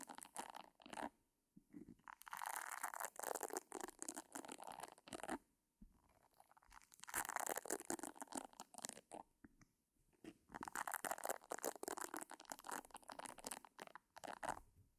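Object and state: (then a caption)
Silicone facial cleansing brush scratched by fingernails. Long painted nails scratch repeatedly across the nubs of a pink silicone facial cleansing brush head held close to the mic. Dense, crackly rubbing bursts centered around 1 kHz with bright, hissy edges come in three longer, louder stretches between shorter quiet pauses, with almost no low end.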